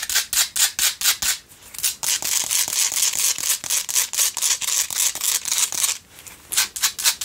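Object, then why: Salt crystal candle holder. Long nails scratch the sides of a pink Himalayan salt single candle holder in quick, uneven strokes. The result is a bright, dry rasping with almost no low end. Short pauses near the 1.5- and 6-second marks break up the scraping.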